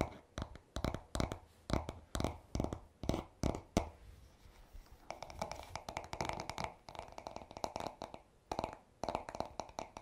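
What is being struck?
Wooden paddle hairbrush back.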